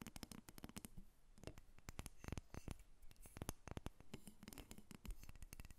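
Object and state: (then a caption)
Carved wooden dolphin figurine. A small, solid carved wooden dolphin figurine is held up and then set on a table while long nails tap and scratch across it. Rapid, dry clicking taps come in dense bursts, mixed with brief scratchy strokes. Each hit dies away almost at once, with a low, woody body under bright, crisp edges.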